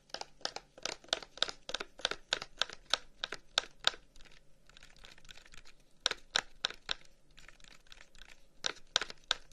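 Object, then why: Wooden incense box. A long, hollow wooden incense box with carved flower-pattern holes is held in the hands and tapped with the fingertips along its surface. Quick runs of dry, bright, short clicks come in bursts, with a quieter stretch of soft rustling in the middle before the tapping returns.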